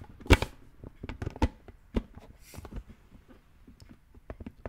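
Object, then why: Plastic toy brain-shaped lid. Fingertips lightly tap and scratch a hollow green plastic brain-shaped lid resting on a red plastic skull container. The result is a loose, irregular run of soft, dull plastic taps with very little ring, mixed with faint scratchy rustling and a brief brighter scrape.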